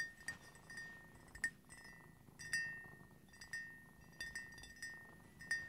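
Fingertips and nails tap the rim and inner walls of an empty white ceramic coffee mug with a cream-glazed interior, standing upright. A series of quiet, irregular clinks rings with a bright tone around 1.8 kHz that fades quickly after each tap.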